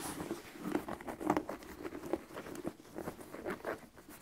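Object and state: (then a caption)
Leather sneaker. A single white leather low-top sneaker with a rubber sole, hollow and empty, is held in hand while fingertips and short nails tap and scratch the upper and sole. Soft, dull taps and scratchy patter with a low-mid tone repeat irregularly throughout, each hit fading almost at once.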